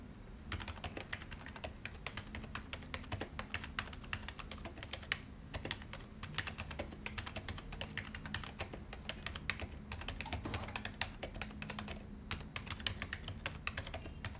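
Fingertips of both hands type continuously on a white plastic desktop keyboard resting on a glossy desk. The result is a steady stream of fast, bright, clicky key taps with almost no ring, over a constant low hum.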